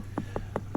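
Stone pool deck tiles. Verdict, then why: Solid. Stone tiles on a pool deck are knocked four times to check whether they are hollow, loose or cracked. Each knock is a short, dull, solid thud with almost no ring, over a low steady hum. The tiles sound solid and firmly set, not hollow or loose.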